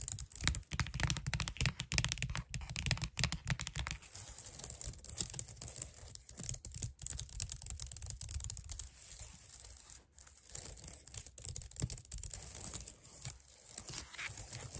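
Long nails tap and scratch across the keys of a clicky white plastic computer keyboard. A fast, dense run of sharp clicks and clacks comes first, then settles into softer, quieter scratching and tapping.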